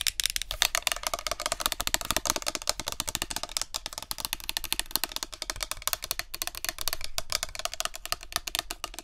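Long nails rapidly tap and scratch over the label and clear plastic of a tilted plastic body mist spray bottle. The result is a dense, fast stream of sharp, bright clicks and scratchy ticks, with little low end and almost no ring after each hit.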